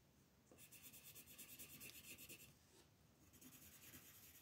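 Fingers with long red nails move a wooden colored pencil across a thin printed paper mandala sheet lying flat on a dark table, filling in color. Quiet, bright, scratchy rubbing strokes begin after a brief hush and repeat in a quick back-and-forth rhythm. They ease off briefly, then resume in another run of brisk scratching.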